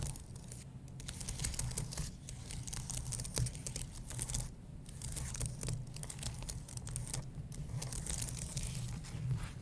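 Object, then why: Plastic keys on an aluminium keyboard base. Fingernails scratch and fingertips tap the plastic keys of a white low-profile keyboard on an aluminum base. It makes a dense, continuous run of dry scratches and bright little clicks over a steady low rumble. The level swells and dips slightly but never stops.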